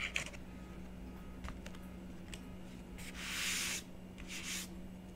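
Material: Coated paper.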